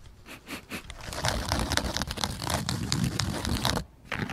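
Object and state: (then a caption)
Woven jute slipper. Fingertips and short nails scratch and rub the upper sole surface of a flat woven jute slipper with a fabric strap, lying on a rug close to the microphone. The result is a dense, crackly scraping texture with short rustling bursts over a low rumble. It goes briefly quiet near the end before resuming.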